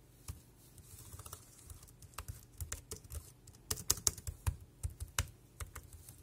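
Fingertips type on the keys of a dark grey plastic wireless keyboard, producing a steady run of short, dry clicks and taps. Each keystroke pairs a bright click with a soft low thump and dies away almost instantly. A few sharper, louder strikes stand out near the middle and end.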